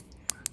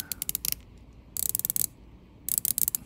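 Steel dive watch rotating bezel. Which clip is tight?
The first.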